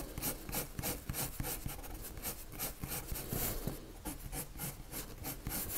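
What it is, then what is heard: Pencil shading on paper. A lavender colored pencil scratches shading strokes across a white paper sheet. Quick, irregular rasping strokes come about three per second, each a brief bright scratchy burst over a soft low rumble. The strokes run continuously at a quiet, steady level.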